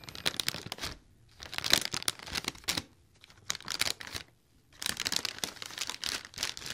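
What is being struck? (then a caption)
Inflated mylar foil balloon. A large silver mylar foil balloon in a letter shape, hollow and air-filled, is held near a binaural mic and crinkled and scratched with fingertips and nails. Bursts of bright, crisp crackling and scratching come in several clusters separated by short quiet gaps, with almost no low end.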